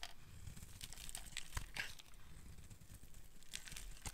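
A solid, dry pink oval bar of soap held in the hand is carved with a metal blade, scraping off curled shavings. Quiet, dry crinkling scrapes come in short, bright strokes over a low, steady rumble. Each stroke snaps off crisply with no ring.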